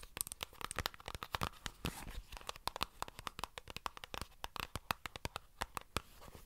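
Long nails tap and scratch a small white plastic squeeze tube of skincare cream held close to the mic. The result is a rapid, irregular run of dry, sharp clicks with no ring, centred around 1.2 kHz, mixed with crinkly, scratchy rustling that reaches up bright.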